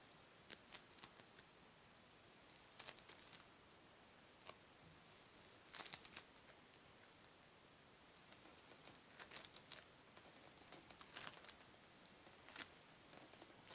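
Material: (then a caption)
Polystyrene foam. A palm-sized yellow lump of floam, polystyrene foam beads in slime, is held in both hands and squeezed and stretched with fingertips and long pink nails. It gives quiet, bright, patter-like crackling and popping in scattered clusters over a soft hiss, with denser bursts around the middle and later in the clip.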